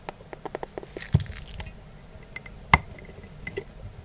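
A small, empty, clear glass storage jar with a glass lid and metal wire clamp, held in both hands and handled with fingertips and short nails. Quick, light glassy clinks and taps come in a loose, uneven rhythm, with two louder, sharper clinks standing out and short ringing that dies away fast.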